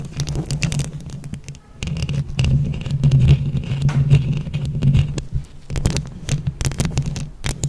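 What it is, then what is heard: Rhinestone-covered microphone scratched with nails. Long acrylic nails on both hands scratch and tap a hand-sized microphone whose mesh grille is covered in colorful plastic flower-shaped rhinestones. The result is a dense, close stream of rustling scratches and quick clicking taps with a heavy low rumble underneath. There is a brief quieter dip early on before the scratching builds again.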